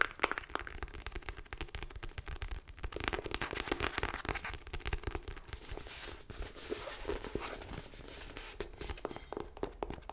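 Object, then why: Paperback book, paper and card cover. Long light-blue nails tap and scratch a paperback book with a purple cover and a paper block, held in both hands. The nails move over the cover and the page edges in a dense run of quick, dry clicks and crackly scratches with no ring.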